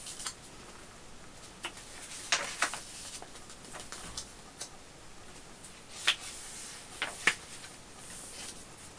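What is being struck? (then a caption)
Hardcover book with paper pages. Fingertips rub and tap across the thick paper pages of a large illustrated hardcover edition of The Hobbit lying open on pink fabric, along with page handling. A soft, bright papery hiss runs throughout, broken by scattered short, crisp taps and rustles that die away almost at once.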